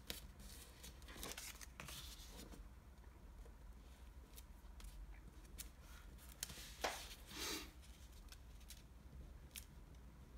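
Fingertips pinch, fold and rub the creases of a small, multi-layered, folded sheet of light blue washi origami paper. Soft, dry crinkles and brief, bright crackles come and go over a steady low hum. A louder, sharp crackle and a short rustling swell stand out near the end.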